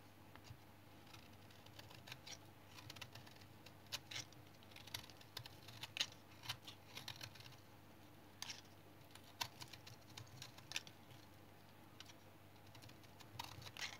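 A small blue-handled knife repeatedly shaves flakes off a palm-sized, solid tan bar of brown household soap held in the hand. Quick, dry scraping cuts come as bright, crisp ticks and short rasps, with a few louder snaps over a faint low hum.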